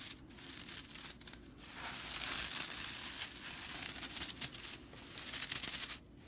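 Fingers and long nails bend, scratch and flick the flat, dry straw bristles of a whisk broom. The result is a continuous dry, crackling rustle with bright, hissy scratches and irregular crisp flicks, with almost no low end.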